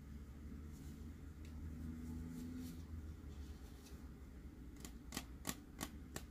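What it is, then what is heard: Plastic tumbler with dome lid. A clear plastic glitter tumbler shaped with a Dory design and a dome lid is held and tapped with fingernails. Soft, faint ticks give way to a quicker series of sharp, bright plastic clicks near the end, each dying away almost at once. A steady low hum runs underneath throughout.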